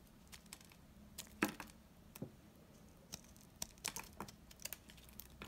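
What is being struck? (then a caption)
Laundry soap bar cut with a knife. A knife blade cuts hard, curled chips off a solid, old, dry amber-brown laundry soap bar held in hand. The result is a quiet series of short, dry, bright clicks and crackles that stop almost instantly, with one sharper snap near the middle.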